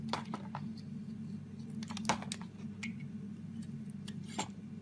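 A metal razor blade shaves the edges of a solid green bar of soap held in the hand into curls. It makes short, crisp scraping strokes with bright, high edges over a steady low hum, with a louder stroke near the middle and another near the end.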